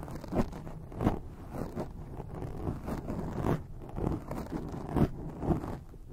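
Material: Foam.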